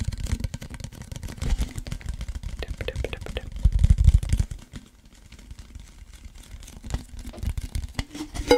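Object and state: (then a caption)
Cardboard chip can tapped and scratched. A hollow cardboard Pringles chip can is held in both hands while fingertips and nails tap and scratch its printed side. Rapid, uneven taps and crinkly scratches carry a deep, hollow thump, building to a louder burst near the four-second mark. The sound then drops to quieter, sparser scratching before a few sharper taps return at the end.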